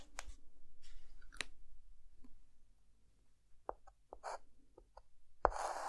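A white chalk stick drawn by hand across a flat, dark chalkboard sketches hair lines on a drawn face. Quiet scratching and rubbing strokes are broken by a few sharp, bright taps and short squeaks over a low, steady background hum.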